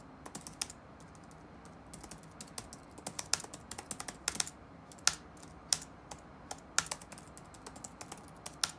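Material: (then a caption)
Plastic. Fingertips of both hands type rapidly on the black plastic keys of an open laptop with a solid keyboard deck, resting on a wooden desk. About 26 short, bright, clicky taps come in quick irregular bursts with almost no ring, over a quiet, steady background hiss.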